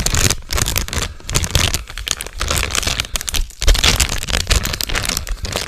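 A medium, sealed Cheetos chip bag made of metallized plastic film and full of snacks is held in both hands and crinkled and squeezed with the fingers. The result is a dense, continuous crackle of sharp, bright crinkles over soft, low rustling thumps, with a few brief pauses.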